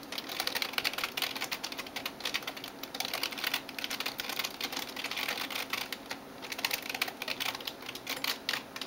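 Fingertips and nails type on the keys of a backlit plastic gaming keyboard. A steady stream of rapid, bright, clicky taps comes in uneven bursts, each tap dying out almost instantly with no low-end thud.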